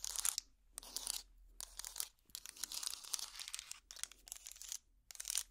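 A trivet made of small solid wooden blocks is held up and scratched with long plastic finger picks. The result is bursts of dry, crackly, bright scratching, almost entirely high-pitched with no low end, separated by short quiet gaps.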